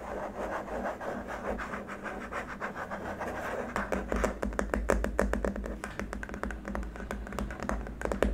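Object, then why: Hard plastic keyboard wrist rest. Short nails tap and scratch along a long, flat, white hard-plastic keyboard wrist rest, with one hand moving along its right side. A soft, continuous scratching fills the first few seconds, then gives way to quick, irregular, dry taps with short clicky attacks over a steady low hum.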